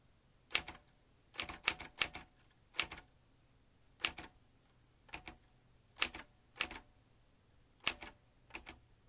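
Fingertips tap the keys of a vintage metal manual typewriter, producing sharp, bright clacks in short bursts of two or three strokes separated by brief pauses. Each strike is crisp and dry with almost no low end, and the sound dies away immediately.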